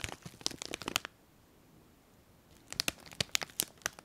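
A small clear plastic bag filled with colourful foil confetti is held in both hands and squeezed and crinkled with the fingers and long nails. Sharp, bright crackling and crinkling bursts fill the first second, then fall to near silence for about a second and a half. The crinkling resumes in crisp, snappy bursts through the end.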